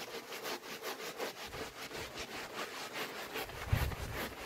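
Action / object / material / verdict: scrape / wool pile rug / wool / none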